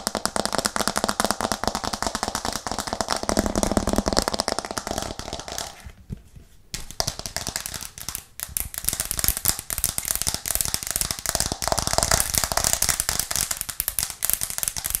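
A white plastic cutting board with green edges is held up in both hands and tapped fast and aggressively with long nails. Dense, rapid clicks run throughout with a bright, crackly texture, dipping to a brief near-silent pause around the six-second mark before resuming.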